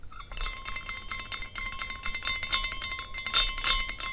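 A small glass carousel figurine spins while its hanging glass horses tinkle against each other in a steady run of light, bright clinks. Sustained ringing tones near 1 kHz and 2 kHz carry through, with brief sparkling high overtones on each strike over a faint low rumble. The clinks grow denser and louder toward the end.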